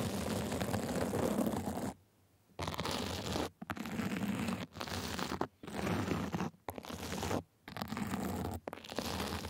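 A sequin and glitter fabric sleeve is scratched with small white plastic tools in quick strokes. The sound is a dense, crunchy, rasping scrape with a strong low-mid body. It comes in several sustained bursts separated by brief silences.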